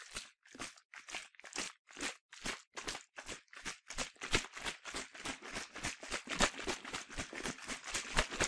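A yellow plastic sunscreen bottle, partly filled with liquid, is shaken back and forth by hand, giving about 25 short, quick sloshing bursts in a steady rhythm. Each burst is broadband and crunchy with a bright, hissy top and a brief low thump, and the shakes grow slightly denser and louder toward the end.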